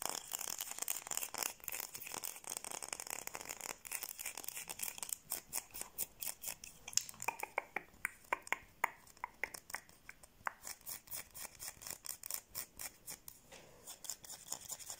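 A palm-sized white solid bar of soap embossed "Batex" is held in both hands and scratched and tapped with long blue-painted fingernails. Dense, crisp high-pitched scratching gives way to a fast series of sharp, dry clicking taps that stop instantly with no ring.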